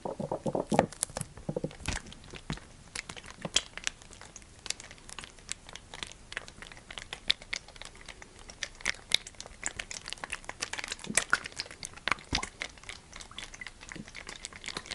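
A clear PET plastic sunflower oil bottle, hollow and partly filled with oil, is gripped with the fingers and squeezed, making its plastic walls crinkle. A dense run of sharp, bright crackles and snaps fills the clip, with little low end and almost no ring after each crackle.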